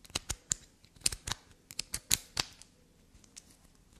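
A solid piece of black soap held in the hand is tapped and scratched with long black nails. About a dozen quick, sharp clicks and scrapes ring out close up and bright, fading almost instantly, with quieter scratching toward the end.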